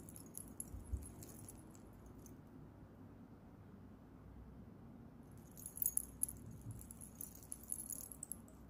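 An antique-bronze metal chain bracelet with many small solid metal charms is held in both hands with fingertips and long nails and shaken. The charms jangle against each other in bright, high clinking bursts near the start and again in the last few seconds, over a low steady rumble with a quieter pause in between.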